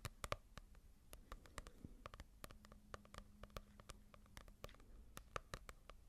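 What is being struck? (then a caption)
Paperback book with a paper cover. Long nails tap on a small paperback manga volume with a paper cover, held close to the microphone. A quick, irregular run of short, dry clicks sounds over a faint low hum, each tap dying away almost instantly.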